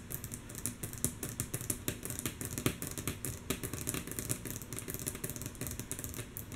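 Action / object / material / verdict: tap / wooden tabletop / wood / none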